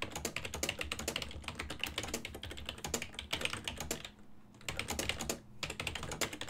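Fingertips tap quickly on a full-size black and silver plastic ergonomic desktop keyboard with hollow key switches while typing. The rapid, bright clicky keystrokes have little ring, with brief pauses near the middle and end, over a steady faint low hum.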